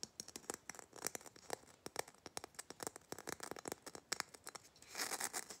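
A small hollow red Christmas bauble covered in glitter, likely plastic with a metal cap, is tapped and scratched quickly with fingernails across its rough glitter surface. Many fast, dry, crisp clicks and scratches come in bursts with almost no low end. A denser rasping scrape builds near the end.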